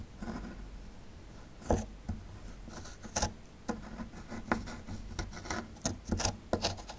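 A small metal chisel tool scrapes a small, solid, rectangular plaster block with a dinosaur relief held in one hand, breaking off plaster crumbs. Quiet, gritty scraping and rasping runs throughout over a low rumble. It is broken by repeated short, sharp, bright crackling bursts as pieces chip away.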